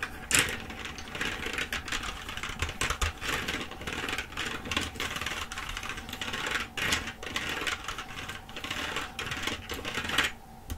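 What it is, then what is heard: Plastic computer keyboard. Fingers with long acrylic nails type and tap across the letter keys of a black plastic computer keyboard held upright. A rapid, continuous stream of bright, sharp plastic clicks and clacks runs throughout, with a few louder taps standing out near the start and around the middle.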